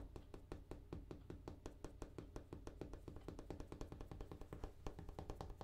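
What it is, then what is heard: Bathroom countertop being tapped. A bathroom countertop is tapped in a quick, steady run of short, dull taps. Each tap has a soft low thud and dies away almost at once. The sound stays quiet throughout, with a faint low hum underneath.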